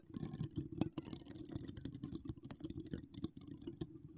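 Ten long acrylic nails decorated with donut charms scratch across a hollow metal wire-mesh microphone grille with no cover. The result is a rapid, dense run of dry scratching clicks and crackles with a low, hollow body and bright, gritty edges. Each scrape stops almost instantly, with no ring.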